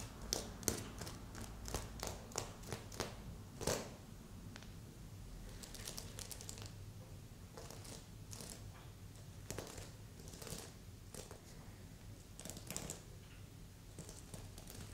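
Long nails tap and scratch across the sequins of a red and silver sequin heart pillow with a ribbon loop. Sharp, bright clicks and crinkly scratching come in uneven bursts over a steady low hum.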